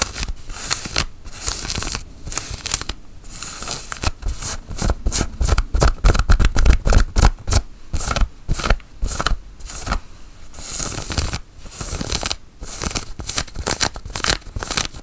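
Long acrylic nails and fingertips scratch and rub the held-out sleeve of a worn grey cotton flannel button-up shirt, the soft woven fabric lying over the arm. Quick, irregular bursts of bright, scratchy rasping come in dense runs, with soft low thumps beneath them and brief quiet gaps between passes.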